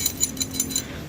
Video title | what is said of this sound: Trondolin dan bikin exhaust hanger sendiri!! - EPS 04 | pasti jeduk jeduk yang longgar